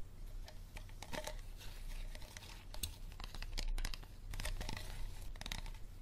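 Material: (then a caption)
Plastic. Fingernails tap and scratch an empty, hollow, clear plastic water bottle with no label while hands grip it, making it crinkle. Sharp, bright clicks and scratchy crackles come in dense, irregular bursts over a low steady hum.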